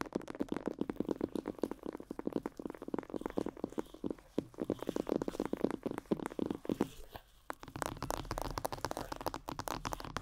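Long yellow nails rapidly tap and scratch the cheeks, temples and top of a life-size glossy black plastic mannequin head, likely hollow. The result is a dense stream of short, dry clicks with a hollow midrange tone and almost no ring. The tapping briefly thins out near the seven-second mark, then resumes just as busily.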